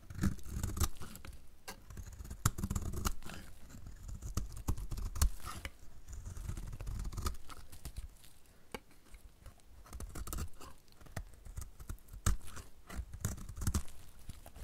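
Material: Soap.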